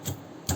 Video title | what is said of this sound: वांगी आणि बोंबलाची ही गावरान रेसिपी पाहिल्यानंतर तोंडाला पाणी सुटेल- जुन्या आठवणी Old Memories | एकदम बघा कसा कुरकुरीत आवाज येतो